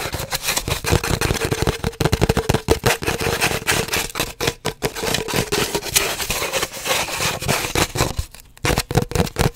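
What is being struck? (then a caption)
Cardboard paper towel tube. Fingernails rapidly tap and scratch on an empty, hollow cardboard paper towel roll held horizontally. The sound is a dense, uneven stream of dry clicks and scrapes over a hollow tone around 445 Hz, with a brief quieter dip near the end before the tapping resumes.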